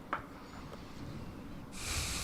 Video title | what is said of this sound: 🔴 LIVE STREAM - DAY THREE - Nottinghamshire CCC vs Yorkshire CCC | You can hear how hard the track is with him tapping his bat.